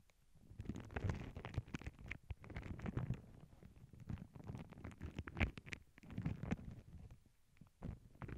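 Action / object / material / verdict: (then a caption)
scrape / tissue paper sheet on a cork board / paper / none. Long glittery nails scratch and tap across a flat paw-print tissue paper sheet lying on a cork board. The result is a dense, steady run of soft crinkly scratches and quick taps, mostly low and muffled with brief brighter flicks, shifting in loudness as the nails move over the surface.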